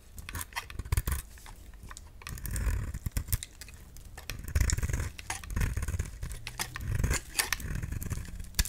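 A solid peach-colored bar of soap, held in hand, is scraped with a utility knife blade, shaving off crumbly bits. The clip is a rapid series of short, dry scraping and crackling strokes with bright, crisp edges over a low, thumpy rumble.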